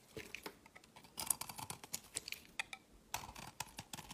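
A metal utility blade shaves and scrapes flakes off the edge of a solid rectangular white soap bar with remnants of a green coating, held in the hand. Quiet, bright, crisp scraping clicks and ticks come in a rapid, uneven series, each dying away almost at once.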